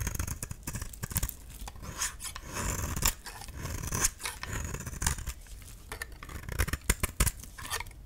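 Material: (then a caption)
Soap. A metal utility-knife blade repeatedly shaves and scrapes a dry, solid cream soap bar with red-painted edges, held in the palm. The steady stream of short, crisp strokes gives a bright, gritty scraping rasp with a soft low rumble underneath.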